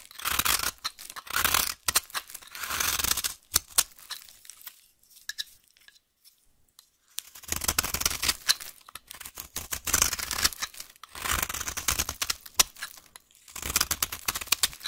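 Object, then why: Bar of soap cut with a knife blade. A solid, dry green vintage soap bar, held in the hand, is scraped and cut along its edge with a knife blade. Bursts of bright, crisp scraping and crunchy cutting come in rapid strokes, separated by a quieter stretch of softer sounds in the middle.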